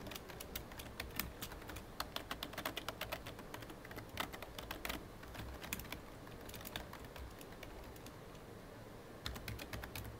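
Fingertips of both hands type on a hollow, full-size black plastic computer keyboard, producing rapid, repeated key taps with bright clicky edges over a low, steady hum. The typing runs in quick bursts, slows to a near pause around the eight-second mark, then picks up again at the end.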